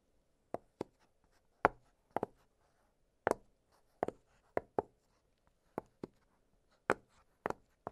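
Fingertips press the bubbles of an octagonal blue silicone push-pop fidget toy, giving short, dry, quiet pops. Some land singly and some in quick doubles, spaced irregularly with near silence between. Each pop is a crisp, bright click that dies away almost at once.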